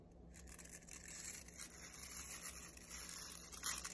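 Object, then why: Plastic round hairbrush with nylon bristles. Fingertips and nails rub and scratch quickly through the stiff nylon bristles of a black plastic round hairbrush held in one hand. The result is a dense, bright, crackling scratch that grows slightly louder toward the end, with a faint low hum underneath.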